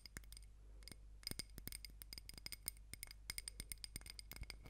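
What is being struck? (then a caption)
Small ribbed glass candle jar filled with wax. Long nails scratch and tap the walls of a small ribbed glass candle jar filled with solid pink wax, and the jar is turned to show its base. The result is a rapid, irregular run of sharp, bright glassy clicks and faint scrapes with almost no ring, over a quiet low hum.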